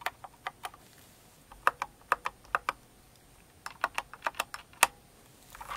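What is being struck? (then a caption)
Mechanical keyboard with plastic keycaps. Long nails type on a full-size Cinnamoroll-themed kawaii mechanical keyboard with plastic keycaps, producing about 17 sharp, bright clicks in short bursts separated by brief pauses. Each click is crisp and dies away almost instantly, with no low-end thump.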